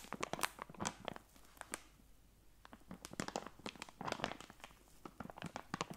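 A medium-size soft plastic film packet of wet wipes with a hard plastic flip lid, full of wipes and held in one hand, is scratched and tapped with long nails on the film and lid. Quick, dry crinkles and sharp clicks come in dense bursts, with a brief quiet stretch in the middle.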